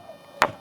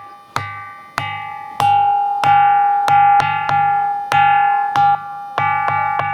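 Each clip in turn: First: ordinary stone, no ring. Second: ringing musical stone, sound and undamaged.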